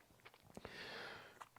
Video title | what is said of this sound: Emotiva Airmotiv B1+ & SE8 Flex Subwoofer Review!! (2023 Price drop on SE8 to just $189) | for a little knock test there you go it's very solid